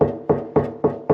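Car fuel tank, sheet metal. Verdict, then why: Empty. Five hollow, resonant knocks on the old, patch-repaired metal fuel tank of a Triumph TR7, struck to check whether it holds any fuel. Each knock rings briefly with a strong tone near 430 Hz, and the tank sounds empty.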